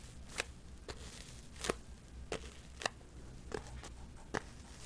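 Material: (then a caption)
Cardboard. Long metallic false nails tap and scratch the surface of a small, hollow white cardboard box held up close to the mic. A series of sharp, dry clicks with brief crackly scrapes is heard over a low, steady background hum.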